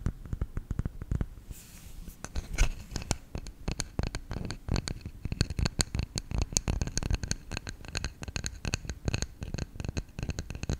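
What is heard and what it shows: Fingertips tap and scratch the lid and sides of a round, hollow, lidded bamboo salt container. A rapid, irregular run of short, dull knocks comes with brief dry scratching and faint bright ticks, and each tap dies away almost at once.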